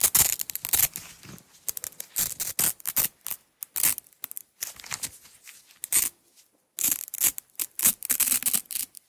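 Long acrylic nails peel a strip of red nylon hook-and-loop tape off a small roll and pull it apart. The result is a quick run of bright, crackly rips and tearing bursts, with a brief silent pause near the end before the ripping resumes.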